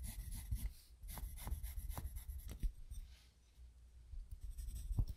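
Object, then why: Graphite pencil on a paper sketchbook. A graphite pencil strokes and scratches across a spiral-bound paper sketchbook resting on a wooden desk while drawing. Short, dry scratchy strokes come in bursts with a low, dull thump under them, then a quieter pause before more strokes near the end.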